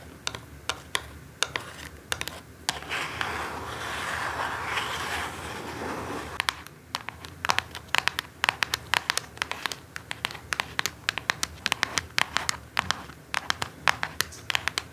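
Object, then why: Small cardboard box. Long nails tap and scratch the sides and edges of a small orange cardboard perfume box held in both hands. Dozens of sharp, bright clicks run throughout the clip, broken by a sustained scratchy rasp from about 3 to 6 seconds. The taps die away almost instantly, leaving a crisp, dry texture.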